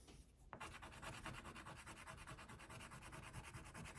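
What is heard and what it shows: A hand rubs an orange wax crayon back and forth over a flat white paper coloring sheet near a tiger's leg. After a quiet start, steady, rapid scratchy strokes with a bright papery hiss repeat in an uneven rhythm.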